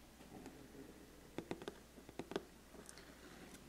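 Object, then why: Cardboard gift box lid. Fingertips and nails tap and scratch the closed lid of a large, flat, black, glossy cardboard biscuit gift box with a ribbon. Eight quiet, short, dry taps land in two loose clusters, with a hollow low-mid knock and brief bright clicks. Faint scratching fills the gaps between them.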